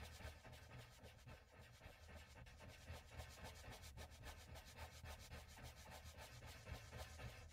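A cotton swab held in the fingertips rubs and blends oil pastel in small strokes across a flat, solid sheet of mixed media paper on a pad. The result is a soft, continuous, low-heavy rubbing with a faint papery scratch, pulsing with the quick, uneven back-and-forth strokes at about three to four per second.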